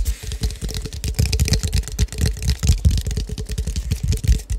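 Fingertips and nails tap the cap and body of a clear plastic drink bottle with a colourful label and a dark cap, hollow and appearing to hold liquid, held in both hands near the mic. A steady run of quick, irregular taps lands as deep, dull thumps with short crisp clicks on top, each fading almost at once.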